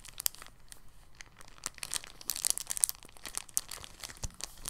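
A thin, clear, empty polyethylene bag lying on a table is folded and pressed flat with the fingers. It makes soft, bright crinkling with many quick, crisp crackles throughout, and one dull low thump near the end.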